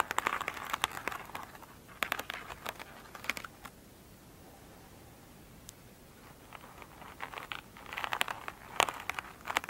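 Long pointed nails scratch an elongated oval foam sponge with a glittery surface, soft and solid, lying on a table. Quick bursts of crisp, crinkly scratching sit mostly in the upper mids and bright highs. A quiet stretch in the middle separates two clusters of scratching.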